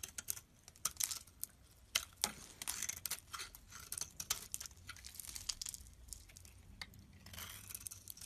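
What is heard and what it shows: A utility knife blade shaves curls off the surface of a cream-colored oval bar of solid soap held in the palm. The sound is a quiet run of bright, dry, crisp scrapes and crackles, with short strokes that stop abruptly and leave no ring.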